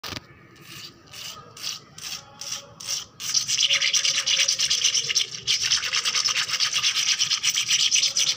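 Long black-polished nails scratch fast across a flat, solid, wet painted concrete floor with puddles. Several separate short, bright rasps come first, then they merge into a continuous, dense, hissing scrape that briefly dips before carrying on to the end.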